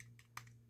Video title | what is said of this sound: The Long Awaited Sonic Models A5. | the boiler is plastic as you can hear